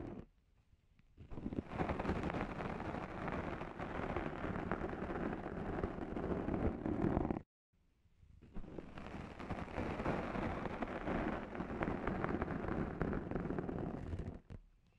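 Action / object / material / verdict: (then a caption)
scrape / foam microphone windscreen and abrasive scourer sponges / foam / none. The abrasive pads of sponge scourers, held in both hands with long nails, scratch the top and sides of a black foam microphone windscreen. A dense, rumbling, crackling scratch fills two long stretches separated by a brief silence. The sound is heavy in the low end with little brightness.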